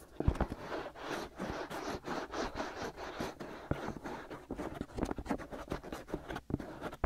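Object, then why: Silicone ear shells of a binaural microphone. Fingertips and nails scratch both white silicone ear shells on a black binaural microphone. The result is dense, rasping scratches in rapid bursts with deep, muffled low thumps close to the mic. The scratching rises and falls steadily throughout the clip.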